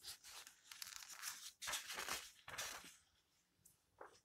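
Fingertips with long nails turn the yellowed pages of an open old paper book, then rub a page flat. Bright, crisp papery swishes and rustles come in quick bursts, with most of the energy high and almost nothing low. The rustling fades to a faint scrape as the page is smoothed down.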